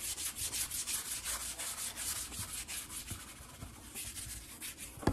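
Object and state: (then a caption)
Wood-grain tabletop rubbed and tapped. Fingertips and a flat hand quickly rub and tap the surface of a large, solid, brown wood-grain tabletop. The result is a fast, rhythmic run of bright, hissy swishes with soft, low knocks underneath, ending in a sharper tap.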